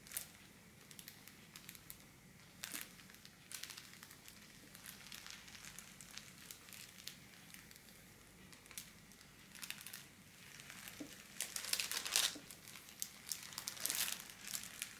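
A thin pink holographic metallic foil wrapping paper sheet on a table is scratched with long black nails and crinkled with fingertips. The result is quiet, bright, dry crinkling and scratching in irregular bursts with almost no low end, growing louder and denser toward the end.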